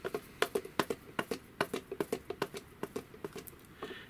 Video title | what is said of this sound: How To Make Your Larp Plate Armor Quiet And Stealthy | it's not nearly as noisy and it sounds like a more natural sound it could almost be a couple of branches banging together